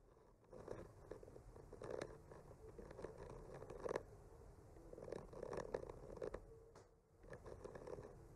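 A thin bamboo skewer with a microphone attached is slowly traced and scratched along the painted lines of a flat, solid wooden board decorated with painted white trees and pink blossoms. The sound is a quiet, dry, continuous scraping with a soft midrange body and small crackly bursts, briefly fading near the start and again just before the end.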